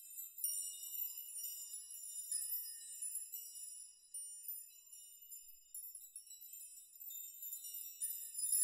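Hands and fingertips sweep through a steel nail chime of many long hanging steel nails, making them jingle and rock. A quiet, continuous, bright metallic tinkling shimmers with high ringing tones and almost no low end. It swells in small clusters of quick clinks, each note decaying fast.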